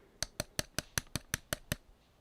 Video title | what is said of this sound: Justice Buster (Batman: Endgame) Mega Fig - Overview - MandoAllDay #dcmultiverse #megafig #dccomics | It just feels very hollow.